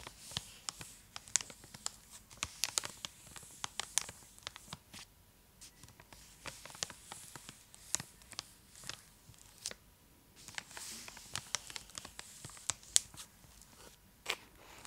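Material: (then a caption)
Foil, plastic. Long blue-tipped acrylic nails scratch and trace across the foil-lined plastic wrapper of a large, full, solid purple Cadbury Dairy Milk bar held in one hand. The result is a quiet, bright, crinkly rustle broken by an irregular run of short, sharp clicks and ticks, with almost no low end.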